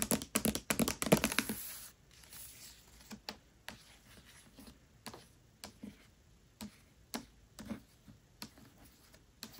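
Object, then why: Hardcover book with paper dust jacket. Long nails tap on the paper dust jacket of a Mistborn hardcover book lying flat. A dense, rapid flurry of bright, crisp clicks fills the first second and a half. It then thins out to single short taps at irregular intervals, each dying away almost at once.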